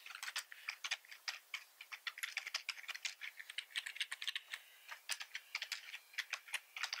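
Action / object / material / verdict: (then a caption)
tap / plastic computer keyboard / plastic / none. Fingertips from both hands type continuously on a black plastic computer keyboard. Rapid, uneven streams of short, dry, bright key clicks tick along with almost no low end, each tap dying away almost instantly.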